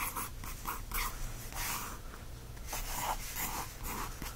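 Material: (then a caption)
Paper. A wooden stick tip traces and scratches across the blank lined paper pages of an open spiral notebook. Repeated dry, papery scratching strokes swell and fade over a low steady background hum.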